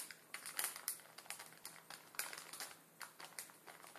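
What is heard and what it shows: A full plastic film ramen packet resting on a wooden table is rubbed and crinkled with the fingertips of both hands. Quiet, bright, crisp crackles and rustles come in irregular bursts, with almost no low end.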